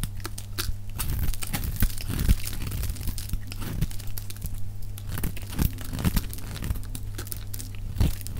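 A metal box-cutter blade shaves a solid oval bar of dry pink soap held in one hand, peeling off curls and flakes. Dense, crisp scraping and crunching strokes repeat quickly and irregularly over a steady low hum, with brief brighter crackles on the sharper cuts.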